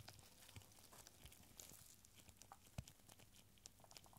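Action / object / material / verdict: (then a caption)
shake / small corked glass bottle holding rolled paper scrolls / glass, paper / none. A small clear glass bottle with a cork stopper, full of tiny rolled paper scrolls tied with red thread, is tilted and shaken in purple nitrile-gloved hands. The scrolls rattle and slide inside, giving soft, dry, papery crinkles and scattered light ticks against the glass, with one sharper knock near the middle. The sound is quiet throughout, and each tap dies away almost instantly.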